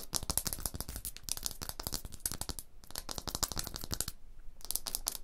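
Long blue nails scratch fast across a rough, solid limestone block wall, making dense, dry, gritty scrapes with bright, hissy high texture and a low thump under each stroke. The scratching comes in bursts, with short pauses near the 3-second and 4-second marks before it picks up again.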